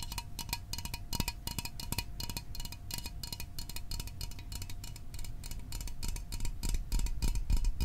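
A small, hollow, sealed Fanta orange soda can made of metal is held in both hands and tapped with fingertips and fingernails. The result is a fast stream of short, bright, tinny clicks over a low, dull thump, with little ring after each tap.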